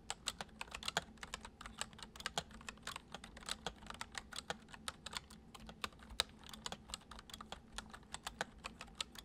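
Fingertips of both hands type quickly on a full-size white plastic computer keyboard with hollow keys resting on a wooden desk. About 46 crisp, bright, hollow clicks come in a fast, uneven stream, each dying away almost instantly over a faint steady low hum.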